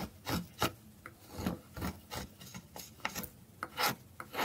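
A small, solid, orange dry soap bar held in the hand is scraped repeatedly with a metal carving blade over a pile of shavings. Thirteen short, dry, rasping strokes are heard, each a brief bright scrape that fades quickly.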